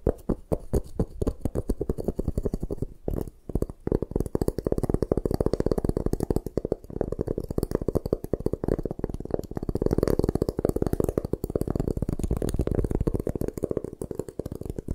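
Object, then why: Block of gym chalk. A solid white gym chalk block is held in both hands while long nails scratch across its surface. The result is a dense, continuous run of fast, dry scraping strokes with a low, muffled body and almost no ring. There is a brief quieter pause around three seconds before the scratching picks back up.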